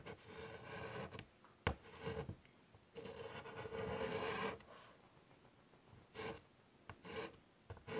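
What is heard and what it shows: White chalk held in fingertips is drawn across the surface of a large, flat chalkboard in a wooden frame resting on a table. Bursts of dry, raspy scratching and rubbing come in strokes of varying length, with a sharp tap near the start and short quiet gaps between. Near the end the strokes become brief and choppy.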